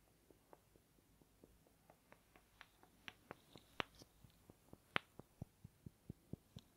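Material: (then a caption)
Wood. Two small rectangular wooden blocks, held in the fingertips, are rubbed and clacked together in front of the chest and then moved near the ear. A quiet, steady run of short, dry clicks sounds over a faint hiss, each one dying away instantly with a bright edge. The clicks grow louder and fuller toward the end.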